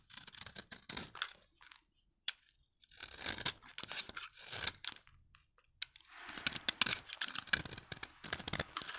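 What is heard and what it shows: A utility knife blade scrapes across the flat face of a solid orange dry soap bar, shaving off thin crunchy curls. Bursts of dry, bright crackling scraping come in several runs separated by short pauses, ending in a longer, denser stretch of shaving.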